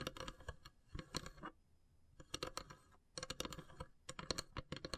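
Long silver nails tap and scratch across the pierced lid of a long, hollow, carved wooden incense box. Quick, dry clicks with bright scratchy edges come in rapid clusters, broken by short quiet pauses. Each tap dies away almost instantly.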